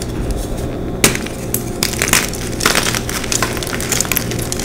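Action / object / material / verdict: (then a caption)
scrape / magnesium carbonate chalk block / chalk / none. Hands with long pink nails crush and crumble eight white rectangular solid gym chalk blocks (magnesium carbonate) in a clear container, breaking them into powder and chunks. Dense, gritty crunching and crackling continues throughout, with a sharp snap just after the first second and bright crumbly bursts later on.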